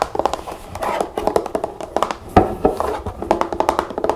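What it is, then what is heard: Plastic bottle of liquid tapped with nails. Long nails tap rapidly on the label and body of a large pink plastic nail polish remover bottle filled with liquid and held in the hand. The taps are short, dry clicks with a hollow midrange tone around 750 Hz and almost no ring.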